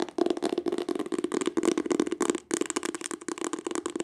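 Long acrylic nails rapidly tap and scratch the embossed cloth or leatherette cover of a green hardcover book. The result is a dense run of quick, dry, crackly taps and scrapes with a steady midrange tone, pausing briefly about halfway through before resuming.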